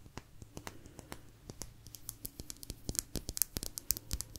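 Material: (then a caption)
Agate. A small, thin, solid blue agate slice is tapped and scratched with long nails close to the mic. Around two dozen quick, sharp, bright clicks and ticks stand out against a quiet, faintly humming background, with soft scratching between them. Each tap stops almost instantly with no ring.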